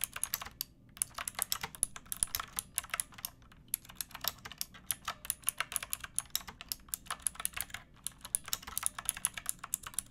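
Fingertips with long painted nails type steadily on a pink backlit plastic mechanical keyboard with round typewriter-style keycaps and a hollow case. The bright, crisp keystroke clacks come in quick irregular runs with a few short pauses, each click dying away almost instantly over a faint low hum.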